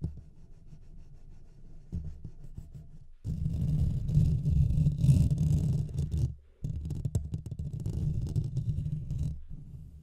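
Fingertips and nails scratch the sides of the hollow metal mesh grille on a Blue Yeti microphone. The result is a dense, low, rumbling scrape with nearly all its energy below 200 Hz: soft for the first three seconds, then much louder and rougher until a brief dropout near six and a half seconds, before resuming and fading slightly at the end.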